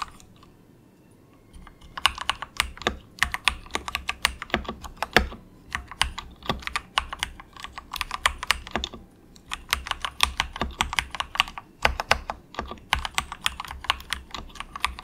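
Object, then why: Plastic mechanical keyboard. Fingertips of both hands type softly on a very cheap, compact 68-key plastic mechanical keyboard with a hollow case, resting on a desk mat. After about two seconds of near silence, a steady stream of short, bright, hollow clacks follows, each dying away almost instantly, in bursts broken by brief pauses.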